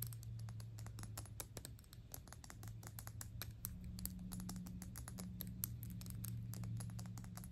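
Long pink nails fast-tap the small, hollow, shiny gold-tone cylindrical metal cap on a Gucci perfume bottle. The result is a rapid, uneven patter of crisp, bright clicks that die away almost instantly, over a steady low hum.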